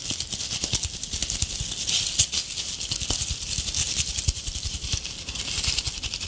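A palm-sized ornament ball covered in shiny gold metallic tinsel strands is held in both hands while long painted acrylic nails scratch and tap quickly across the tinsel. The result is a continuous, bright, crinkly rattle of fast, dense clicks and rustles with very short decay and faint low thumps beneath.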